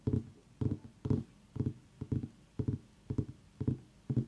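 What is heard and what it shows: Fingers tap on a pumpkin in nine quick clusters about half a second apart, each giving a dull, hollow, low thud. The knocks stop almost at once with little ring, and there is quiet between them.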